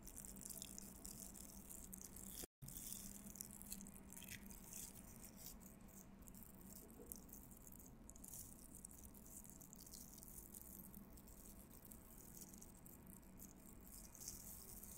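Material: Plastic.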